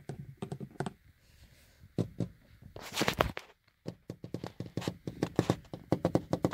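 Fingertips and short painted nails tap on the large, flat glass side window of a car from inside, making quick, dry taps with a dull low thump and a bright click. Clusters of taps give way to a brief scratchy rub across the pane, a short pause, then a steadier run of sharp taps.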